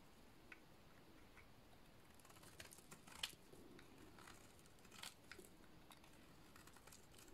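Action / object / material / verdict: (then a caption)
scrape / soap bar shaved with a blade / soap / none. A utility-knife blade shaves a solid, dry purple bar of soap. Quiet, dry scraping and crackling come over a faint steady hiss, with short bright scratches that stop without ringing. The loudest scrapes come near the middle and again a little later.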